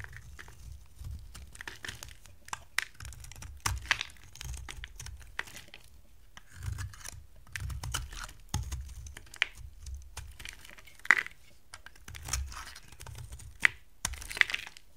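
A hand-sized, solid purple dry soap bar with a gold-painted edge is held in the hand and carved and scraped into thin slices with a box-cutter blade. Dry, crisp scraping and crunching cuts come in quick bursts with sharp, bright clicks and a soft low thud under many strokes. Each sound stops dead with no ring.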